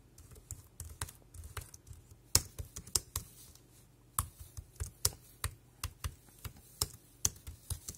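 Fingertips tap the round keys of a dark grey compact plastic wireless keyboard with a hollow casing, giving about eighteen short, crisp clicks at an uneven typing pace. Each tap is bright and dies away almost instantly over a faint, steady low hum.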